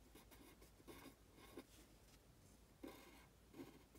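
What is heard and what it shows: A pen scratches across a thin printed paper worksheet lying flat, writing characters while the other hand's fingertips rest on the sheet. Quiet, soft scratchy strokes come in short bursts with brief pauses between them, and a few slightly sharper taps stand out.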